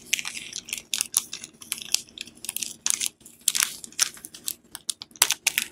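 A palm-sized, solid Dettol soap bar in a glossy plastic film wrapper is held in both hands while fingertips and nails squeeze, rub and crinkle the wrapper during unwrapping. The result is a rapid series of sharp, bright crinkles and crackles with almost no low end, each burst dying away almost instantly between short quiet gaps.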